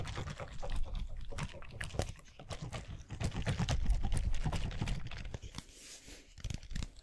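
A clear plastic cylindrical bottle with a white cap, full of blue gel water beads, is tapped and scratched with the fingernails close to the microphone. Quick, irregular taps land as dull, low thumps mixed with soft scratchy clicks and faint squishy shifting from the beads inside. The tapping swells louder in the middle, then thins to quieter scratching and a few last taps.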